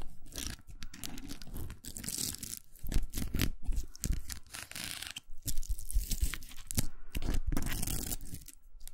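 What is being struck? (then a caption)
Plastic velcro hair roller. Long nails scratch across the velcro hooks of a large, hollow pink plastic velcro hair roller. The result is a dense run of rough, crackling scrapes with a bright, tearing texture over a low, thumpy handling rumble. The scrapes come in uneven bursts that swell and fade throughout.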